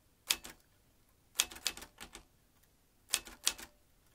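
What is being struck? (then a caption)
Metal manual typewriter. Fingertips of both hands press the round keys of a large, hollow vintage metal manual typewriter with exposed typebars. About ten sharp, bright clacks come in three quick clusters, each snapping off almost at once with very little low end.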